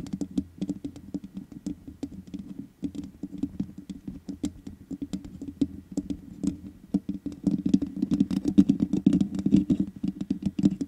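Long nails and fingertips of both hands tap rapidly across the hollow metal mesh grille of a black microphone. The taps land as a dense, irregular patter of short, dry clicks over a boomy low-mid thump, with almost no ring. The tapping grows busier and louder during the last few seconds.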